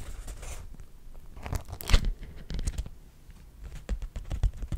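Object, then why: Beeswax-coated cotton food wrap. A single thin, flat, pink-purple patterned cotton wrap coated in beeswax is held up in front of the face while fingertips crinkle, crumple and rub it. The result is a close, irregular run of soft crackles and papery rustles, with a few louder crunchy pops, over a low thumping rumble.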